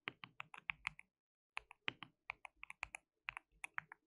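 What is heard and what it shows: Fingertips of both hands type on a white plastic mechanical keyboard with translucent keycaps. About 22 quiet, sharp, bright clicks with almost no ring come in three quick bursts separated by short pauses.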